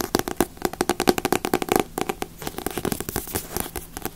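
A thick Dragon Ball Z paperback comic, larger than other volumes, solid with a glossy paper cover, is held in both hands while long nails tap and scratch its cover. The result is a rapid, uneven run of crisp, dry taps with almost no ring, mixed with light papery scratching.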